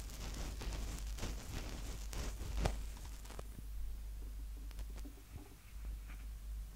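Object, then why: Plastic handheld audio recorder mic capsules. Fingertips of both hands tap and rub directly on the two protected mic capsules atop a small black plastic Tascam DR-05X handheld recorder. The result is close, dense scratchy rustling and soft pattering taps over a heavy low rumble, with bright crackle through the first half. It thins to quieter, sparser taps after about three and a half seconds.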